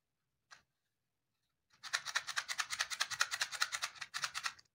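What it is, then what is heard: Cardboard matchbox with matches. Fingertips rub or shake a small white cardboard matchbox held in one hand. A single short scratch comes first, then after a pause a quick, fairly steady run of about two dozen dry, bright rustling bursts. The sound stops shortly before the end, with no ringing after each burst.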